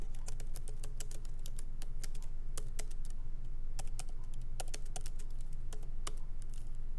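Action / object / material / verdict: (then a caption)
tap / laptop keyboard with plastic keys in aluminum body / plastic / none. Both hands type lightly with their fingertips on a MacBook Pro keyboard, plastic keycaps set in an aluminum body, with the laptop resting on a wooden desk. Quick, uneven clicky taps with bright, short attacks run steadily over a constant low hum.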